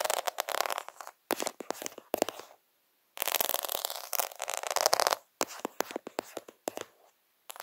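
Fingers rub and scratch over the beads of a plastic faux half-pearl sticker sheet held near the lens. The result is bursts of fast, dry, clicky scratching with a bright, airy texture and no low end, separated by short silent pauses.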